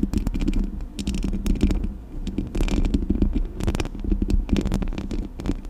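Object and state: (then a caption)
Metal microphone grille being scratched and tapped. Long acrylic nails scratch and tap the metal mesh grille of a Blue Yeti microphone, producing a dense run of quick, sharp clicks and scrapes. The close pickup gives each touch a heavy, boomy low thump under brief bright ticks, with no pauses in between.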